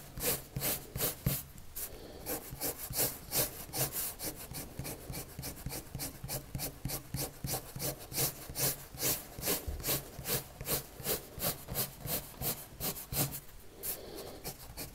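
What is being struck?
Colored pencil on a paper drawing sheet.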